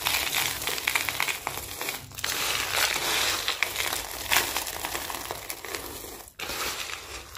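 Both hands press, crush and rub a loose pile of small, dry, brittle red and green Christmas soap curls and flakes on a white surface, using fingertips and palms. The result is a steady, dense, bright crunching and crinkling crackle that swells and eases unevenly, with a brief near-silent gap just before the end.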